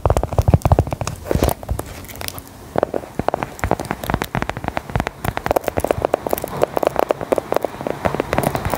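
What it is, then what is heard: Biscuit tapped and scratched with nails. Long gold metal filigree nail claws tap and scratch a small, solid, brown round embossed biscuit held in the hand. Rapid, dry clicks and crackly scrapes with a low, thudding body come in uneven bursts, each tap dying almost at once.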